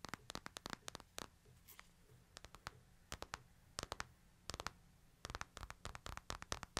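A small handheld smartphone with a glass front and hard frame is held in tattooed hands close to the mic and tapped with fingertips and nails on its screen and edges. About thirty short, sharp clicks and taps come in quick clusters, each bright and dry with no ring. Between them sits a faint low hum.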